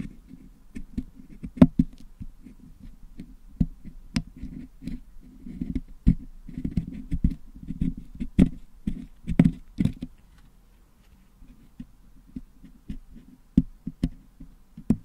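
A wooden toothpick picks and scratches at the metal mesh grille of a Blue Yeti microphone, held in one hand and filled with blue and red putty being cleaned out. Soft, low, dull scraping and rustling runs throughout, broken by sharp, dry clicks and ticks with no ring. The scraping thins out to near quiet for a stretch before the clicks pick up again toward the end.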